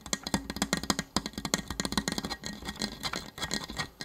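A hollow orange and blue plastic Nerf toy blaster is tapped quickly with fingertips along its body and barrel. The result is a rapid, uneven patter of dry, hollow plastic clicks and knocks, each dying almost instantly, with a bright clatter over a faint low body tone.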